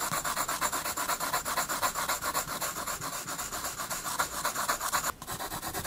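A graphite pencil held in the fingers shades a penguin drawing on a spiral-bound paper sketchbook resting on a wooden desk. It makes quick, steady back-and-forth strokes, about four per second, each a dry, scratchy rub with a bright papery hiss. There is a brief pause just after five seconds before the strokes resume.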